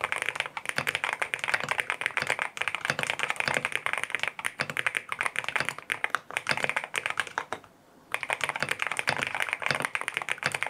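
Fingertips type steadily on a compact lavender full-aluminum M1W mechanical keyboard with white plastic keycaps, a PC plate, foam filling and linear switches. The result is a dense stream of short, crisp, bright clacks with almost no low end and no ring. A brief pause near the eight-second mark interrupts the typing.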